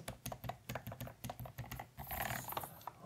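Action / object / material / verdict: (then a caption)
tap / plastic mechanical keyboard with plastic keycaps / plastic / none. Fingertips of both hands type on and tap the plastic keycaps of a full-size white mechanical keyboard with a plastic brick-compatible case, lying on a desk mat. Short, sharp clacks sound in quick succession, each with a brief hollow low thump. Near the end, a brighter, denser burst of clicking follows.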